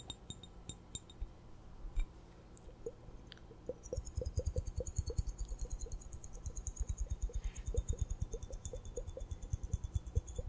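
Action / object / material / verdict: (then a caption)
tap / small glass hourglass with glitter sand / glass / none. A small hollow glass hourglass, partly filled with purple glitter sand, is held in both hands while long dark-painted nails tap and scratch its glass bulbs. Rapid, irregular clicking taps with deep low thumps and short bright ticks are heard, picking up pace after about four seconds.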